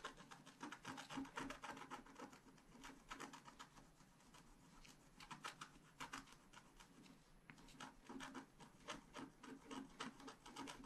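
A wooden stylus scratches densely in short strokes across a flat scratch art paper sheet. The result is a quiet, irregular run of dry, rasping scrapes at roughly three to four strokes per second. Each stroke is a brief bright scratch over a faint low tone near 270 Hz.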